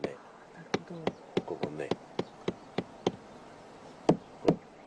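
A series of short, dull knocks as the living, solid section of an old cherry tree's wooden trunk is tapped to compare it with the hollow dead part. Each tap sounds muffled and dies away almost at once, with a faint low buzzing tone under some of the early taps. The deadened knocks show this section of the trunk is still alive and sound.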